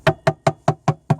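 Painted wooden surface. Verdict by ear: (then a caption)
Rotten. Six dull, low taps on a painted wooden surface that has rotted where thick paint chipped and let water in, leaving the wood wet underneath. Each knock is short and thuddy with almost no ring and little high-frequency content, the soft dead sound of rotten wood.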